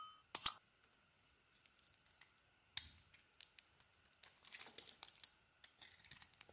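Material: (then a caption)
Soap. A solid green-coated orange bar of soap held in the hand is scraped with a metal blade, shaving off crumbly bits. Quiet, bright scraping and crackling come in short bursts, with two sharper strokes near the start and a denser cluster of scrapes later on.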